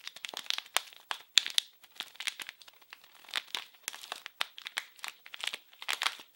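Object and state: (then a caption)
Plastic film wrapper being crinkled. A small blue printed plastic-film wrapped package is crinkled and scratched with fingers. The result is a rapid run of short, dry, bright crackles and scratchy crinkles in quick bursts with brief pauses, with almost no low end and no ring after each sound.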